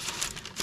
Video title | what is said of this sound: How to make Cranberry and Walnut Bread... my step by step recipe. | if you tap it you'll have like a hollow sound